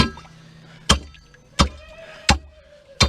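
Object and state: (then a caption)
Concrete footing at bottom of post hole. Four sharp taps strike the concrete footing pad at the bottom of post hole number six, which still rings out clearly even though some dirt has fallen on it. Each hit is a brief, solid knock with low thump and bright high edge, separated by quiet pauses with a faint background hum.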